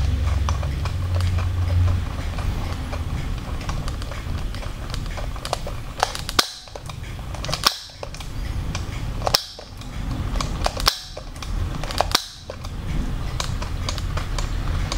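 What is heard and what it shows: Fingers pull the eye mechanism at the back of an orange-haired Blythe doll's hard plastic hollow head, while the doll wears a cream dress. This gives repeated short, sharp plastic clicks as the eyes change and close. The clicks sit over a steady low rumble, with several louder snaps spaced irregularly through the clip.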